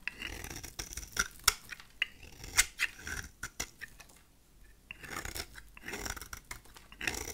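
A utility knife blade shaves a solid, rectangular, dry cream-colored soap bar into flaky curls. Bright, dry scraping and crisp cutting snaps come in quick, irregular bursts with a short quiet gap midway, then steadier scraping resumes.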